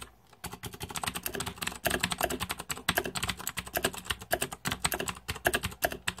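Fingertips type quickly on a green-backlit 2014 Razer Deathadder mechanical keyboard with plastic keycaps. After a brief quiet start, a dense, steady stream of sharp, bright plastic clicks and clacks follows, each dying out almost instantly, with a faint low thud beneath the keystrokes.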